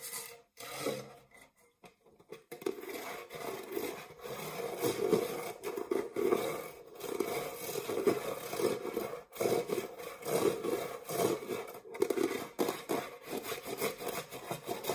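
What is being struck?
Metal springform cake pan.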